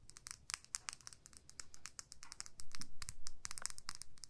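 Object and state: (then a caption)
Plastic lip gloss tube. Long nails scratch and tap a small clear plastic lip gloss tube with pink gloss and a purple cap. The result is a quiet, rapid, irregular run of crisp, bright clicks and scratchy crinkling over a faint low rumble, with the taps growing louder and fuller in the second half.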